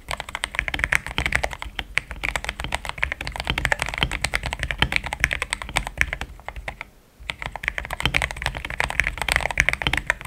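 Fingertips type fast on a solid, compact pink-cased mechanical keyboard with thick cream XDA plastic keycaps. Dense, crisp clacks peak around 2 kHz with a bright top end. There is a brief pause near the seven-second mark before the typing resumes at the same pace.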